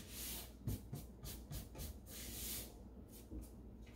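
Bare fingertips and a palm rub and sweep across the flat wooden bottom panel of an empty, open light-wood kitchen drawer with crumbs on its base. The result is a dry, airy brushing hiss that swells and fades in strokes, with soft low bumps as the hand shifts.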